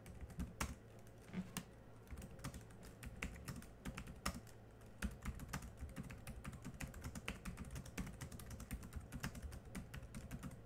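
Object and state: Plastic laptop keyboard.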